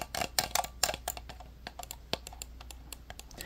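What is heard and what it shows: An orange, small, hollow hard-plastic computer mouse is held up close while fingertips and nails click and tap its buttons. About seventeen sharp, bright plastic clicks and ticks come in an uneven run; the first second is louder and denser before the taps turn lighter and sparser. A faint steady low hum sits underneath.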